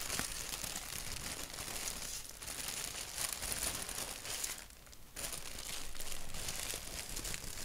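Fingertips scratch and tap a thin white paper sheet printed with a black doodle. The result is a steady, dense, dry crinkling and scratching with bright, papery texture. It dips briefly quieter just before the five-second mark, then picks back up.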